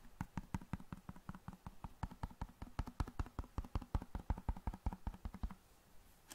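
A large, flat, hollow cardboard box of long matches is tapped rapidly with long nails and fingertips. Dozens of short, dry, hollow taps with a low thump come in a quick, uneven rhythm, each dying away almost instantly. The tapping stops just before the end, leaving a quiet pause and one last faint tap.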